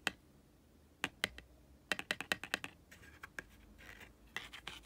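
Fingertips and nails tap and scratch rapidly over the glossy, solid, stiff laminated cardboard cover of a small closed Ariel board book resting on a carpet. Quick, sharp, bright clicks come in irregular bursts, with softer scratchy rustling between them. Each tap stops almost instantly with no ring.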